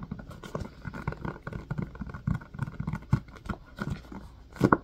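Fingers tap and squeeze the domes of an empty blue silicone ice cube tray set in a white plastic frame. The result is a steady run of soft, dull, low-heavy taps and squishy presses with almost no ring. A louder burst of presses comes near the end.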